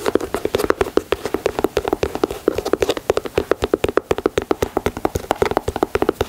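Fingernails tap and scratch the leather toe and side of a white leather Air Jordan 4 sneaker. About fifty quick, dry taps follow one another in a steady, rapid patter, each with a hollow knock near 390 Hz and a short bright click. Each tap dies away almost at once, with light scratching between them.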